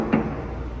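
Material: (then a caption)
Metal. A single knock on a metal fuel tanker trailer, made after unloading fuel at a store to check that the compartment is empty, gives a short, hollow, drum-like boom centered around 220 Hz that fades quickly into a low background rumble. The hollow sound indicates the compartment is empty.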